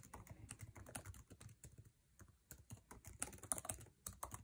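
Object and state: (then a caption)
Laptop keyboard being typed on. Fingertips tap fast on a MacBook Air laptop keyboard, plastic keycaps set in an aluminum body, while typing. Quick, dry clicks with very short decay arrive in dense bursts, each with a low thump and bright edges, and the pace briefly slows near the middle before speeding up again.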